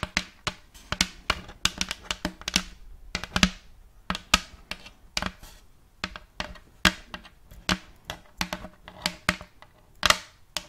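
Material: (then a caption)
Wood. Long colored fake nails tap and scratch a round, thin, empty plate of checkered light wood held close to the mic. About 33 sharp, bright clicks die away almost instantly, with soft scratchy rustling between them.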